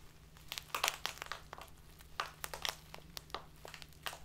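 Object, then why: Clear plastic bag filled with loose dried tea. A tall, narrow, clear plastic bag full of loose dried tea and tied at the top is held upright on a table and squeezed by both hands with long painted nails. It gives a quick series of sharp, bright crinkles and crackles over a faint steady low hum. The crackles are quiet and mostly high, each snapping off almost instantly.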